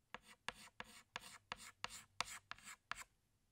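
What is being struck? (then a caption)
Chalk stick on blackboard. A pink stick of chalk is rubbed along drawn lines on a flat black chalkboard in short strokes. Nine separate strokes are heard, each starting with a sharp tick and trailing into a bright, dry scratching rasp, with quiet gaps between them.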